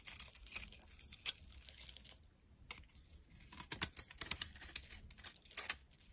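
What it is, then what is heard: Dry soap bar being carved. A metal utility knife blade scrapes and carves flakes from the surface of a solid rectangular mauve bar of dry soap held in the hand. The sound is a quiet, dry, bright crackling and scratching, with irregular strokes and occasional sharper crisp snaps as flakes break away.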